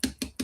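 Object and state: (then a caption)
Ripe watermelon. Three quick taps on the yellowish part of a watermelon, each a hollow, drum-like thump centred near 260 Hz that fades almost at once. The hollow sound marks the watermelon as ripe.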